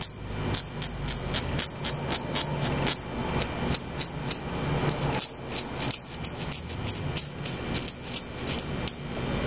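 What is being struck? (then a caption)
Plastic eyebrow brush-comb with bristles. A small dual-sided eyebrow brush-comb, with dark plastic comb teeth and a bristle brush on a light handle, is held close while fingernails scratch and flick across the comb teeth and bristles. Roughly thirty quick, bright plastic ticks stand out over a soft rustling scratch. Each tick is sharp, high and dies out almost instantly.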